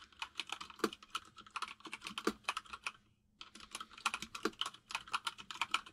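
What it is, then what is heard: Mechanical keyboard with plastic keycaps. A white full-size mechanical keyboard with plastic keycaps sits on a desk while both hands type on it with their fingertips. Rapid, bright, crisp clicks and clacks run in quick bursts, with an occasional heavier thock. The typing stops for a brief pause about halfway through, then resumes at the same quick pace.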